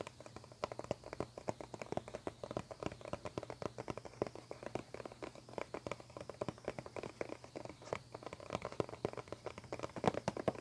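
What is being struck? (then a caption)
Plastic CD spindle case. A medium clear plastic CD spindle case, its hollow dome lid over the discs, rests on a table and is tapped and scratched rapidly with fingertips and nails. Dozens of quick, dry, hollow plastic taps with a midrange knock sound in an unbroken flurry, mixed with faint scratchy rustling. A low steady hum sits underneath throughout.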